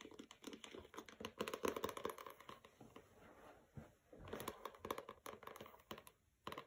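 Dozens of short, crisp ticks mix with scratchy rasps, with nothing ringing after each one, as fingernails tap and scrape a paper-covered hardcover book. The stiff board under the paper keeps every tap dry and clicky. The room is small and quiet.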